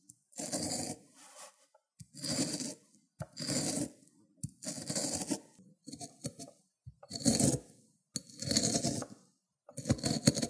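The end of a cucumber is rubbed back and forth over the teeth of a white ceramic grater plate, spreading green wet pulp. It makes a series of wet, rasping scrapes in irregular strokes, each a rough, bright hiss over a fuller low body, separated by short silences.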